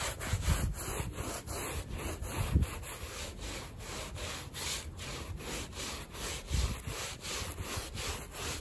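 A gloved hand scrubs a small, fringed woven rug, muddy and soaked with soap foam, using a handheld bristle brush in repeated strokes. The result is a steady, rhythmic wet scratching and rubbing with bright bristle texture and a few heavier, low thumping pushes.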